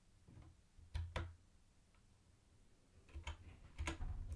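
Fingertips type on a mint-green plastic typewriter-style keyboard with round white plastic keycaps and a hollow body. Two quick taps are followed by a quiet pause, then a looser cluster of taps. Each is a soft, low, hollow clack with a brief bright tick on top and very little ring.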